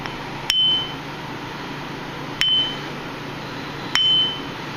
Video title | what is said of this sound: Grinder Safety | You hear a high-pitched ring, that means the wheel is not cracked and that it is all right to use.